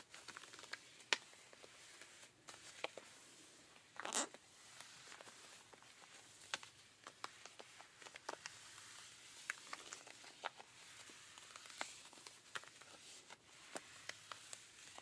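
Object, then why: Denim jeans scratched with rubber-gloved fingers. Rubber-gloved fingertips scratch the thigh and knee area of ripped blue denim jeans. The result is a quiet, bright, dry scratching texture with many short clicks and rasps and one louder brushing swipe about four seconds in.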